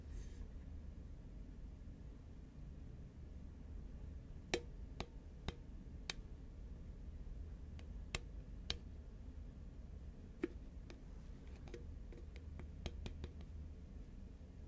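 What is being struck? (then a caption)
Cardboard chip can. Long fingernails tap and scratch along the side of a hollow, tall cylindrical composite paperboard Pringles can with a green label, held upright in hand. Sparse, sharp, bright clicks sound one at a time over a quiet, steady low rumble. Each tap dies away almost instantly.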